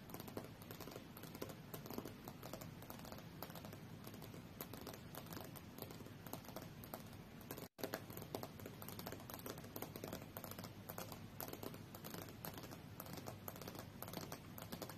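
Long fingernails tap quickly on the solid glass screen of a tablet lying face-up on a fur rug, with occasional sliding strokes across the glass. The quiet, dense patter of short clicking taps continues throughout, broken only by a brief moment of silence near the midpoint.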